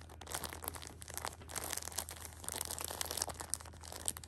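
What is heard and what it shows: A hand with long nails grips, squeezes and scratches the clear plastic wrap of a small Shopkins pocket tissue multipack full of tissue packs. The result is a continuous stream of bright, crisp crinkles and scratchy rustles over a faint steady low hum.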